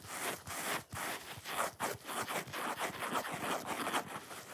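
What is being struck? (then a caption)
Foam sponge. Long fingernails scratch quickly and roughly across the top edge and red face of a solid, watermelon-shaped foam sponge. The result is a steady run of dry, raspy scraping bursts with bright hiss and almost no low end, broken by a few short pauses between strokes.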